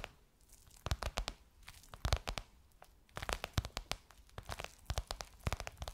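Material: Faux leather.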